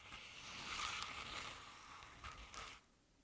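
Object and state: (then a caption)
Crepe-paper-covered decorative pumpkin. A medium-sized round decorative jack-o'-lantern, covered in crinkled orange crepe paper with black paper face cut-outs, is gripped by hands at its sides and scratched with long red nails. The result is a bright, papery crinkling scratch that swells and fades over about three seconds, then drops to near silence.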